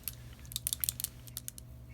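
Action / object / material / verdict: shake / plastic bottle of liquid shimmer medium with a mixing ball / plastic / loose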